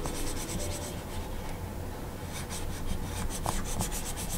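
A hand-held plastic stylus nib makes small scratching and writing strokes on the solid glass screen of a large Gaomon PD2200 pen display. Quick, uneven strokes give soft, bright scratchy hisses over a steady low rumble, with a quieter lull around the middle of the clip before the strokes pick up again.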